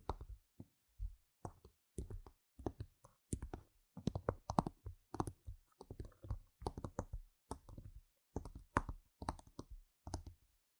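Long red nails tap quickly on the faces of small, solid, round plastic game gem tokens lying on a mat, close-up. Quiet, dry clicking taps come in short rapid bursts separated by brief pauses. Each tap stops almost instantly with a soft, low-weighted knock.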